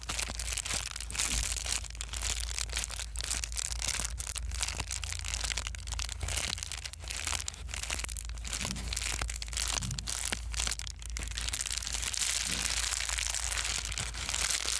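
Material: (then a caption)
Plastic. A small white foam bubble-wrap sheet is held flat, then squeezed and crumpled with the fingers. It gives a dense, continuous run of bright crinkling and sharp crackling over a steady low hum. The texture stays busy and fairly even in loudness throughout.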